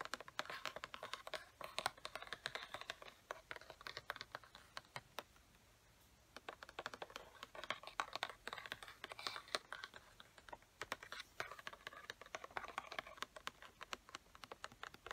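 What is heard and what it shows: Long fingernails tap and scratch along the side edge of a hollow, printed cardboard Sharpie marker box held close up. Rapid, dry clicking taps mix with bright scraping, with a short quiet pause about a third of the way through before the tapping resumes.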